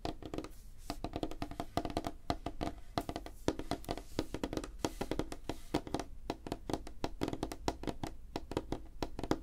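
Fingertips and nails of both hands tap quickly on a flat, solid, light wooden tabletop. The result is a dense, rapid run of short, dry knocks with a woody tone around 316 Hz and a brief clicky top, each tap dying away almost at once.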